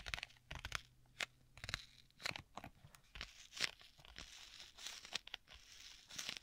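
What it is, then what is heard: Leather tablet case. Fingertips and nails scratch and rub the cover of a flat black stitched leather folio tablet case with a strap. Quick, dry crunching scratches and taps come in short bursts, bright and centered around 2 kHz with little low end. Between strokes there is a soft, steady rubbing hiss.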